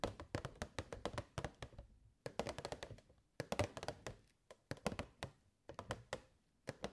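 Long nails tap the side panels of a hollow, clear plastic box with purple fairy lights inside. The crisp, dry taps come in quick bursts separated by brief pauses, each with a hollow plastic knock and almost no ring.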